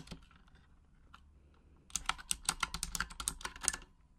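Long acrylic nails tap the plastic keycaps of a full-size pink Razer Huntsman mechanical gaming keyboard with RGB backlighting, in a typing motion while typing in Japanese. After almost two seconds of near-silence with a few faint taps, a quick, uneven run of sharp, bright, clicky keystrokes follows, each dying away almost instantly, before it goes quiet again.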